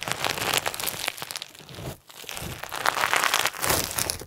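A soft, solid lump of pink and white crunchy slime with plastic sequins is kneaded and squeezed tightly in both hands, then set down on a white table. Dense, bright crinkling and crunching crackles continue throughout, with a brief quiet dip near the middle before the squeezing resumes.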